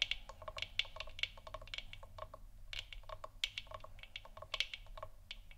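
Fingers and nails tap the sides of a large, hollow, 3D-printed plastic moon lamp sphere that is lit orange. The result is a quick, irregular run of dry, bright, clicky taps that stop almost instantly, centered around 3 kHz. A faint steady low hum sits underneath.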